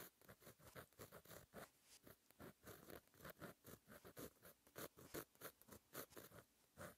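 A plastic gel pen with a fine metal tip writes Korean cursive on a flat sheet of black lined paper in a notebook resting on a solid surface. Quiet, scratchy strokes come in a steady run of short, separate bursts with a soft, bright hiss.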